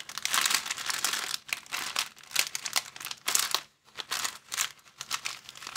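Fingers crumple and crinkle an empty, thin, transparent plastic bag. The result is dense, bright, crackling crinkles in uneven bursts with almost no low end, broken by a brief near-silent pause before the crinkling resumes.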